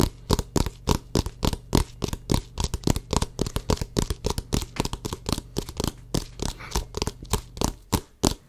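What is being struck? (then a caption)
Inflated rubber basketball. Fingertips and short nails tap and scratch the pebbled rubber surface of a full-size orange Wilson basketball, hollow and inflated, held against the mic. About 35 quick, uneven, dull thumps with a low hollow body are heard, each cut short and laced with brief scratchy rasps across the pebbling.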